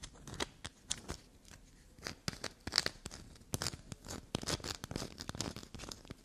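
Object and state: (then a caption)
Black soap bar being scraped. Long black nails dig into and scrape a solid chunk of black soap, already carved and scraped, held in both hands. Quick, dry, crumbly scratching strokes come in irregular bursts, bright and gritty with a faint low thud under some of them.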